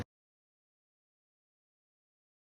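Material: Nothing is struck.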